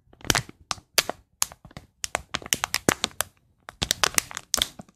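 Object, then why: Thin plastic foil bag. An empty, thin, transparent, shiny plastic foil bag is held up in both hands and crinkled and rubbed with the fingertips close to the microphone. The result is a quick series of sharp, bright crackles and crinkles in uneven bursts, with almost no low end and very short decay between bursts.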